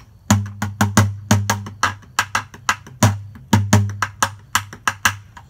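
A medium blue plastic bucket with a colorful print, hollow and empty, is held tilted in one hand and struck with a stick held in the other, giving a series of taps and knocks. About 21 sharp, woody-sounding hits come at roughly two per second in an uneven rhythm, each with a brief hollow, low boom around 100 Hz that dies away quickly.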